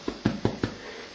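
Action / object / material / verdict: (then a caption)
tap / loaf of brown bread / bread / hollow. A loaf of homemade brown bread, baked about 15 minutes in a hot oven at 160, is turned over and tapped, giving a light tap followed by three louder, short, dull thuds that die away quickly. The hollow sound shows the bread is cooked, though because it is liked well cooked, one loaf goes back in the oven for another minute or two.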